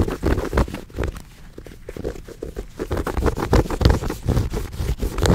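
Long nails scratch and tap a small, soft, brown fuzzy fabric pouch held close to the microphone. The result is an irregular run of soft, muffled thumps and brushing scratches, heavy in the low end with very little brightness.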